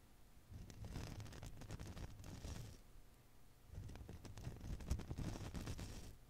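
A fist-sized blue and green Koosh ball, made of many soft rubber filaments around a soft core, is held in one hand and squeezed and rubbed with the fingertips. It makes two bursts of soft, crackly rustling and squishing, with low, dull thumps and a few brighter ticks, separated by a brief quiet pause.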